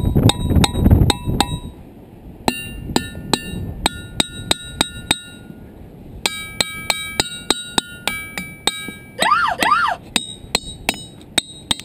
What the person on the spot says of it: that one's got some sustain